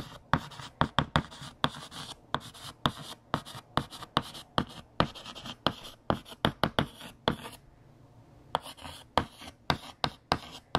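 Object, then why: Chalk on a slate chalkboard. A hand writes on a large, flat, solid black chalkboard with a yellow chalk stick, making dense scratching and tapping strokes. About thirty sharp, bright, dry taps and scrapes come in quick bursts, with a brief pause near the end before the writing resumes.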